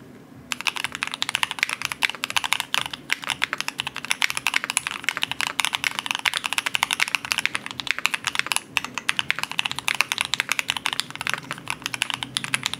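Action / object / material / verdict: tap / mechanical keyboard with aluminum case and plastic keycaps / plastic, aluminum / none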